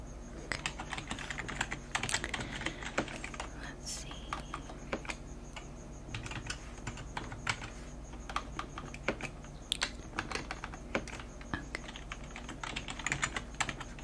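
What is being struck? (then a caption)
Plastic computer keyboard. Fingertips and long painted nails type continuously on a full-size black plastic computer keyboard with a hollow body and keys. A rapid, uneven stream of short, bright, hollow clicks and taps, some louder than others, plays over a steady low hum.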